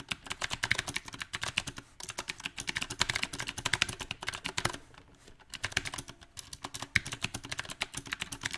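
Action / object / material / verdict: tap / mechanical keyboard with plastic keycaps on a metal frame / plastic / none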